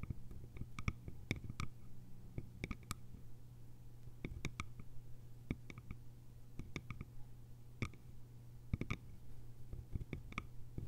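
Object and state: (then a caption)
Bamboo lidded canister. Long nails tap the lid rim and sides of a small, round, hollow bamboo jar with a lid. The result is a quiet stream of sharp, dry clicks, some in quick clusters, that die away almost instantly over a steady low hum.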